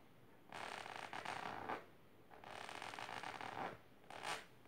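Long silver nails scratch the fabric of a large pink patterned fabric-covered storage box or ottoman. Three raspy, scritchy passes are heard: two long strokes and a short final one, each a dense mid-range rasp with bright hiss and quiet gaps between them.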